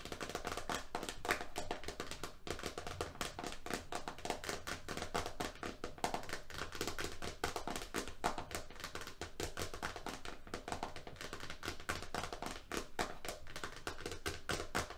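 A green roll of FrogTape painter's tape with its label disc, resting on a striped mat, is tapped rapidly with fingernails on the label and rim. The result is a fast, steady stream of short, dry clicks that stop almost at once, with a brightish tone around 1.5 kHz and a low thump underneath.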